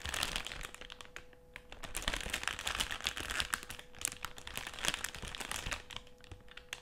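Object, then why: Metallised plastic crisp packet. Fingertips and nails scratch and rub the surface of a partly full black metallised, foil-lined plastic crisp packet lying flat on a table. The result is a dense run of bright, sharp crinkles and crackles that swell and fade over about seven seconds, with a faint steady tone underneath.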